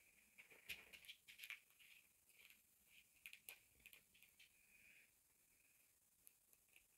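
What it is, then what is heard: Denim fabric being scratched. Fingertips and short nails scratch and rub a pair of blue denim jeans lying flat, working around the zipper fly and front of the soft, layered fabric. The result is a quiet, bright, dry patter of short scratchy scrapes centered around 2.5 kHz, with almost no low end and a few sharper strokes standing out.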